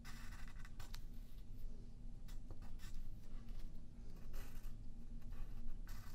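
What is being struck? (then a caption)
Pencil on a paper sheet. A yellow pencil draws short strokes across a thin white paper sheet lying flat on a wooden table, while the other hand holds the paper in place. Soft, bright scratching bursts come and go over a steady low hum. The scratches stay quiet and close throughout.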